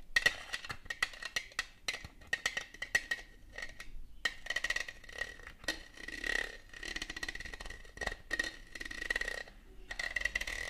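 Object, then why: Ribbed plastic Christmas ornament ball. Long gold metal claw nail covers tap and scratch the ribbed surface of a large, shiny red Christmas bauble held in the hand; the bauble is hollow, likely plastic, with a metallic finish. Quick, bright clicking taps with a faint ring near 1.9 kHz alternate with rougher, raspy scratching runs across the ribs.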